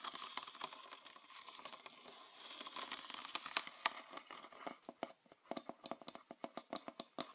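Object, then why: Plastic bottle tapped with fingernails. A green PET bottle with a red plastic cap, full of liquid, is tapped with fingernails on its body and cap. For the first few seconds the taps come as a dense, crinkly patter with a faint ringing tone near 1 kHz. After that they slow into distinct, crisp clicks with almost no ring and no low end.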